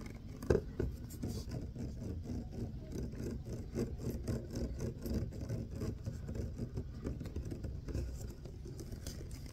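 Fingertips and nails scratch and tap the ridges of a clear ribbed plastic water bottle, close-up. A sharp, louder tap lands near the start, followed by a steady run of dense, soft scratching and pattering with a dull, low-heavy tone and quick, dry taps that barely ring.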